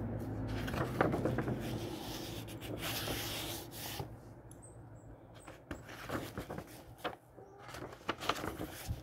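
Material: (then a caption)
Paper. Fingertips slide under the edge of an aged paper page in an old 1948 book, rub it and turn it over. Dry rustling and papery scrapes rise and fall over a steady low hum, with crisp crinkly flicks and soft brushing as the page turns.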